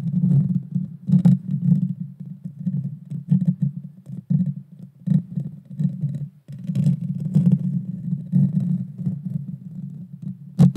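A small hollow round metal mesh grille on a pink-red Blue Yeti Nano USB microphone is scratched and tapped directly with the long dark-painted fingernails of both hands. A dense, deep rumbling scratch fills the clip with a steady low hum. Quick tapping bursts rise out of it, with a brief pause near the middle and a sharp bright tap at the very end.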